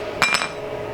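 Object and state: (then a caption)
Carbon-fiber-reinforced PPS plastic part with a metallic clink. A 3D-printed part made of PPS-CF, a high-end engineering polymer reinforced with carbon fiber, is dropped and gives two quick, bright, ringing clinks. It sounds metallic even though it is plastic, not metal.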